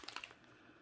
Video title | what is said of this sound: How to Paint Gingle Bells | you have to shake it until you hear that little ball